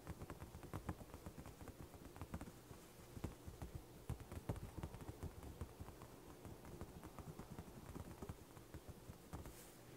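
A thin, flat sheet of white printer paper on carpet is first flexed by both hands, then tapped and scratched with fingertips and short nails while it lies flat. The result is a quiet, steady stream of soft, dull taps and crinkles, mostly low and muffled, each dying away almost at once.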